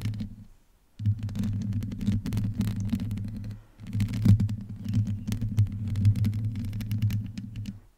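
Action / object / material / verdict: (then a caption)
scrape / metal mesh microphone grille / metal mesh / none. Long nails on both hands scratch and rub the hollow, rounded metal mesh grille of a black microphone. The result is a dense, low rumbling roar centered around 100 Hz, with scattered crackly scrapes on top. After a brief quiet start, the sound runs almost continuously, dipping once for a moment near the middle.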